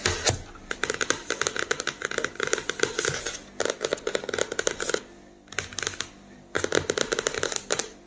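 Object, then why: Cardboard-covered spiral notebook. A medium spiral-bound notebook with a glossy printed cardboard hardcover (floral pattern, pink elastic band), lying flat and closed on a wooden table over a solid stack of paper, is tapped and lightly scratched with the fingertips and nails of both hands. Quick, crisp, bright taps come in dense bursts with short pauses around 3.5 s and between 5 and 6.5 s, each hit dying away almost at once.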